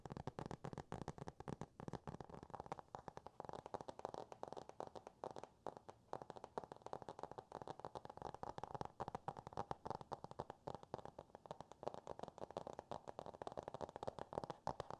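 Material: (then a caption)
Cardboard. A solid hardcover book with a cardboard cover is held in the hands and tapped and scratched with fingernails. The result is a quiet, steady stream of rapid, dry, crackly taps and scratches with a muffled midrange tone and very little brightness.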